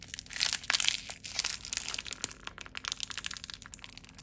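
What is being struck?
Plastic film bag.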